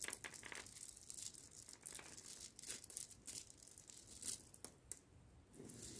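Loose roasted coffee beans are scooped up in the palms, dropped and raked together by fingertips on a cloth surface. Quiet, bright, dry rattling and clicking patter in bursts, with sharp short ticks and almost no low end.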